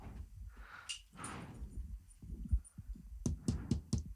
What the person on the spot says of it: That is not metal. Yeah, but it's like fake metal. It's like plastic metal.